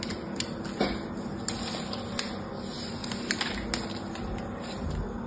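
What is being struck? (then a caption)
Painted soap bar cut with a small knife. A small knife cuts and scrapes the remaining piece of a hand-held, blue-painted dry soap bar into crumbly chips. Bright, crackly scraping runs throughout, with sharp clicks and snaps as the blade bites into the soap. Crumbly chips break away from the bar.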